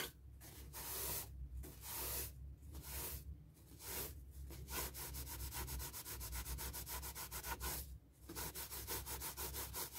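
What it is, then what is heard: Latex balloon rubbed with tissue. A paper tissue wipes and rubs over the rubber skin of a light blue, inflated, hollow latex balloon held in hand, making soft, breathy, hiss-like swishes over a steady low rumble. A few long strokes give way to a quicker run of short, rapid rubs, then a brief pause before the quick rubbing resumes.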